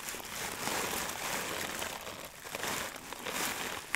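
A hand-sized clear plastic zip bag full of dry loose herb buds is crinkled and squeezed with fingers. It gives a steady, bright crinkling and crackling with a soft rustle of the buds inside, swelling and easing in waves, with a sharper crackle at the very end.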